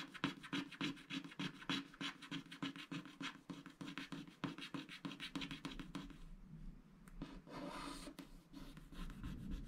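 A wooden stylus scratches the coating off small animal shapes on a black, wax-coated scratch art sticker sheet while the fingers of the other hand hold the sheet in place. Quick, rhythmic scratchy strokes with a bright rasp repeat steadily for about six seconds, then turn softer and more continuous, with occasional sharper scrapes near the end.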